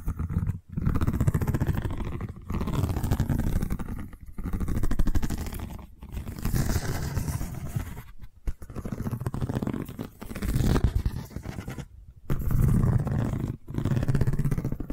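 Long nails scratch along a long cylindrical seagrass tube covered in woven straw weave, held at an angle. The result is a dense, low, rumbling scrape, heavy in the bass, that comes in long continuous passages separated by brief silent gaps.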